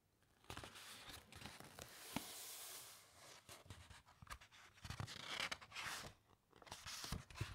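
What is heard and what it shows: Long nails rest on and rub the thick, uncoated paper pages of a large open hardcover encyclopedia, then a hand lifts and turns a page. Soft, bright papery rustling and scratchy scraping are broken by sharp little crackles and taps. A longer hissing sweep comes as the page turns over, all at a quiet level.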